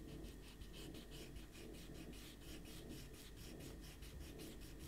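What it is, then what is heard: Paper sheets rubbed with an eraser. A small rubber eraser is rubbed hard back and forth across a stack of thin white printer paper with a pencil drawing on it, resting on a white table while the other hand steadies the sheets. The result is a steady, quiet run of rhythmic, bright scratchy strokes over a soft low rumble.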